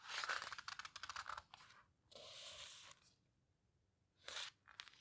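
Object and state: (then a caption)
Paper photo book pages rubbed and turned. Fingertips rub and squeeze the paper pages of an open photo book and turn them. A quick run of crisp, bright crinkles gives way to a steady papery swish as a page turns. After a near-silent pause, another short rustle and a few faint crackles follow.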